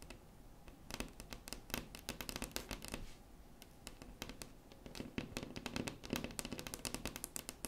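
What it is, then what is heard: Wooden tabletop tapped with fingernails. Long acrylic nails tap and scratch across a large, solid, flat wood-grain tabletop. Rapid, irregular bursts of sharp, bright clicks with very short decay mix with softer scratching, easing into quieter stretches between flurries before the tapping picks back up.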